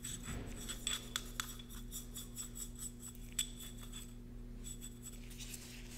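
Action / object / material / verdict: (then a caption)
scrape / small cast concrete cup / concrete / none. A thin paintbrush rubs sealant over the inner wall of a small, empty, hollow cylindrical cast concrete candle cup, which is held in a gloved hand and turned. Soft, dry brushing and scratching strokes on concrete are heard with a few sharper taps, a faint high ringing tone, and a steady low hum underneath.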